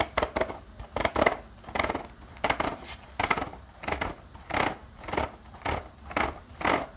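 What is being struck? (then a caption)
Spiral-bound notepad with metal coil and cardboard cover. Fingertips scratch across the metal spiral binding and the paper page edges of a small spiral-bound notepad with a black cardboard cover. A series of short, dry, raspy strokes repeats steadily, each a bright papery scrape with a slight metallic rattle, separated by brief quiet gaps.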